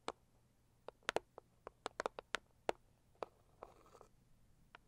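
Long acrylic nails tap and scratch the lid of a closed, hollow, medium-sized pink floral Saviland cardboard gift box. About fourteen quiet, sharp, dry clicks ring out with no resonance, and a brief soft scratching stretch follows near the end.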